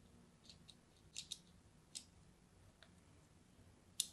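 A craft knife scratches a solid orange striped soap bar held in the hand, making a crosshatch of shallow cuts. Several short, crisp, high scraping clicks come at uneven intervals over a faint low background hum, and each one dies away almost instantly.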